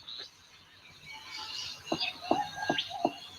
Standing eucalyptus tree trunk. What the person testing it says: go up to the tree and tap it and see whether it's hollow